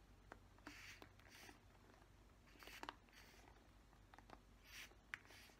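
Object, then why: Plastic paddle hairbrush. Fingernails scratch the plastic bristles of a black plastic paddle hairbrush, making quiet, bright, dry rasps. Short crisp ticks and clicks punctuate the soft bursts of scratching over a low, steady background hum.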